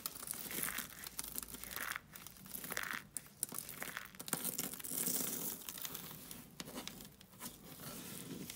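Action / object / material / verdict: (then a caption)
scrape / soap flakes on foil / soap / none. A pile of pink dry soap flakes on a foil sheet is scooped up, rubbed and pressed between both palms, with fingertips and long nails working the flakes. A continuous, bright crinkling crunch fills the clip, rising and falling in dense bursts as the flakes crumble apart.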